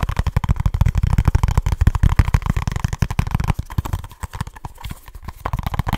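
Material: Cardboard.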